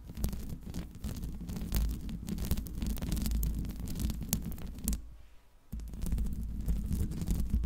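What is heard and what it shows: Long pink nails scratch the top and sides of the hollow metal mesh dome grille on a silver Blue Yeti microphone. This produces a dense, rumbling scratch dominated by low, boomy tones, with sharp bright ticks scattered throughout. The scratching pauses briefly near the five-second mark, then resumes just as full.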